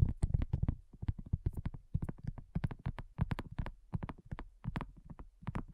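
A flat, round, pink silicone coaster with a dotted surface, thin and solid, lies on a dark table next to a recorder and is tapped with long natural nails and the fingertips of both hands. The result is a quiet, rapid, uneven patter of soft, dull, low thuds, each with a brief clicky edge from the nails and almost no ring.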